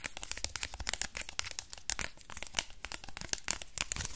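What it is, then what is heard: Crumpled aluminium foil ball. A small crumpled aluminium foil ball is held close and crinkled and rubbed between fingertips. It makes a dense run of bright, crackling crinkles with sharp clicks and no ring. The sound stays quiet and close throughout.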